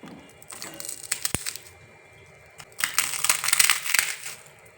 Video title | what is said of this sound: अगदी सोप्या पद्धतीने शाबुदाणा पापडी -दुप्पट फुलणारी पळी पापडी -#shabudana papdi# | पापड्यांचा आवाज पण किती कुरकुरीत आवाज येतोय तर बघा